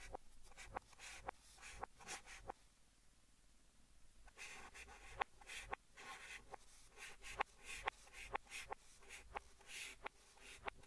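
White chalk held in the fingers writes Korean and English letters on a large flat green chalkboard in a wooden frame, with the sound played in reverse. Quiet, bright scratchy strokes and sharp taps come in an irregular rhythm, with a near-silent pause in the middle before the scratching resumes more densely.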